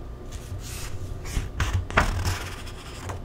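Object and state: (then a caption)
Paper cookbook pages being turned. Fingers flip the thin paper pages of an open paperback vegan cookbook, *Eat to Live*, one by one, with the page edges rubbing. Soft papery rustles build into several crisp, bright flips with light low thumps near the middle, then settle back into quiet rubbing over a low background rumble.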